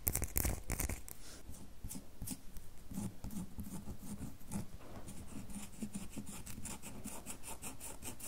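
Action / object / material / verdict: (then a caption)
scrape / soap bar / soap / none. Long nails scratch a solid red bar of soap held in the hand, making a steady run of dry, rasping scrapes with brief bright streaks. The scratching starts with a louder burst in the first half-second, then settles into an even, close stream with a low, soft body.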